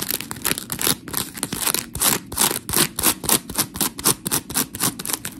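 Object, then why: Polymer foam scrub sponge. Long pink nails scratch across the gritty surface of a white, hand-sized smiley-face scrub sponge made of coarse, porous polymer foam, held close to the camera. The result is a rapid, uneven series of bright, rasping scrapes, each short and dry with little low end.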